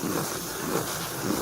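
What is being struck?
Nothing is struck.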